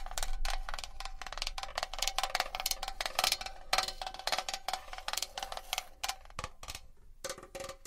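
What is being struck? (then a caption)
Small metal box. A small metal box is tapped and scratched with long nails. Rapid, bright metallic taps ring with a steady tone near 760 Hz, mixed with scratchy high-frequency rasps. Toward the end, a lower ringing tone near 600 Hz takes over.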